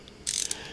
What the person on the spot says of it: the actual quote unquote socket in here is metal you know it sounds like metal